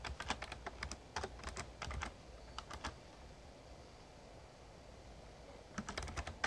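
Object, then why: Plastic membrane keyboard. A full-size backlit plastic Razer Ornata Chroma mechamembrane gaming keyboard is typed on steadily with fingertips. Quick, bright, short clicks come in a run of keystrokes, then a few more, a quieter stretch, and a final burst near the end.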